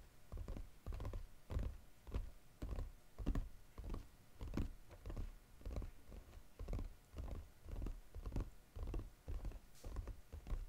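Fingernails tap rapidly on the lid of a flat brown Godiva paperboard chocolate box lying flat. The taps come in quick, uneven clusters of dull, hollow thunks, mostly low in pitch and dying away almost instantly, with no bright ring.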